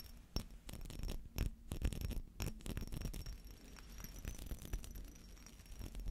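Fingernails scratch the textured surface of a small glass perfume bottle that is partly filled with amber liquid and has a metal cap. The result is a quiet, dense run of short scraping and clicking sounds with low thumps, a few sharper ticks, and a faint steady high tone throughout.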